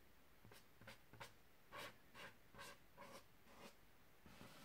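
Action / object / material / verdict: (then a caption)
tap / inflated latex balloon / latex / none. A large, hollow, air-filled white latex balloon printed with a purple tiger is held on a carpet and tapped and lightly scratched with a single fingertip and short nails. Quiet, irregular strokes of dull, low thumps with brief bright, scratchy hiss rise and fade quickly over a steady soft background.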